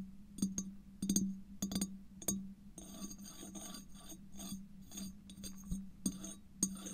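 Fingernails tap and scratch the outer wall of a large, empty, clear glass bottle lying on its side, recorded with a mic inside the hollow bottle. Sharp clinking taps come in the first few seconds, then a steady raspy scratching. A few more taps follow, over a low hollow resonance around 190 Hz.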